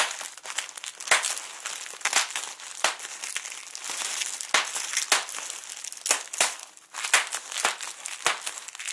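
A large sheet of clear plastic bubble wrap with air-filled bubbles is crumpled and scrunched with both hands and fingertips. It makes a steady, bright crinkling with sharp, crackling spikes scattered throughout, and the sound is mostly high-pitched with almost no low end.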